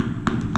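Two taps on a ceramic floor tile set on mortar, each giving a short, solid knock with a low body and a faint mid-range click. The tile sounds properly bonded, a reference against hollow tiles with air underneath.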